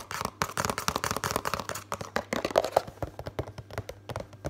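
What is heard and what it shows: Fingertips and nails rapidly tap and scratch the front and sides of a hollow Complan drink-powder box made of thin printed cardboard while it is held up. The result is a dense run of quick, dry, papery taps and crinkly scratches with a hollow midrange knock around 645 Hz and almost no ring after each hit.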